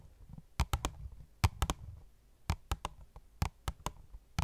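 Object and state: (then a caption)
Cardboard box with plastic window, tapped. Fingernails tap an opened, hollow cardboard phone case box with a clear plastic window, making 13 sharp, dry clicks that mostly come in quick groups of three. Each tap has a bright, crisp edge over a low, hollow thump and dies away almost instantly.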